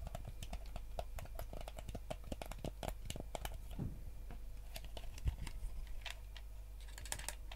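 Fingernails tap and scratch across the shell of a yellow, hollow plastic gamepad, which is turned to show its translucent back. A fast, uneven run of short, dry clicks with bright edges dies away almost at once, with a brief downward scrape in the middle, all over a steady low hum.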